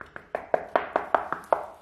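A series of sharp, dry taps on a cracked self-levelling floor screed, at a spot where the cracks are much more visible, gives short knocks with a slightly hollow midrange tone around 660 Hz and almost no ring. The floor sounds a bit hollow there; the cracking is blamed on the screed itself or on missing expansion joints.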